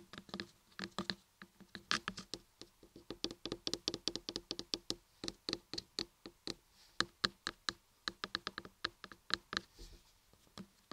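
Long nails tap and scratch the top edges and carved ears of a solid block of laundry soap. Many quick, dry, bright taps come in a rapid, uneven stream with almost no ring, over a faint low body.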